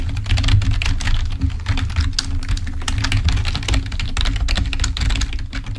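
Fingertips of both hands type rapidly on a full-size black plastic Microsoft membrane keyboard resting on a table. A dense, continuous stream of short, soft plastic key taps and clicks runs throughout, with bright click edges. A steady low hum sits underneath.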